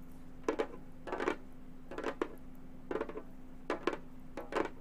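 A round, hollow Remo frame drum with a synthetic head is tapped with long gold metal finger claws, giving quick bright clicky taps in small clusters at an uneven pace. Each tap has a short hollow ring centered around 340 Hz, over a faint steady low hum.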